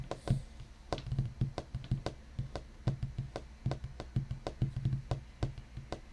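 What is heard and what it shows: Fingertips of both hands tap and knock on the large, solid top of a black wooden desk, possibly painted or laminated. About thirty quick, irregular knocks are heard as dull, low, woody thuds around 133 Hz, each with a faint clicky edge and a very short decay.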